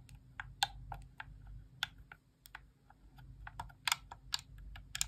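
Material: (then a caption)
Plastic. Long nails tap and click the face buttons of a white plastic Xbox Core wireless controller held in the hand, its hollow shell rattling slightly with each press. The result is a run of short, dry, bright clicks at uneven intervals over a faint, steady low hum.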